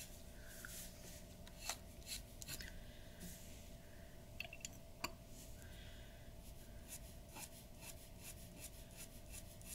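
A glass dip pen's nib scratches quick hatching strokes across a large flat sheet of white drawing paper resting on a wooden table. Soft, dry rasping strokes repeat over a quiet, steady background, with a few sharper, brighter ticks standing out.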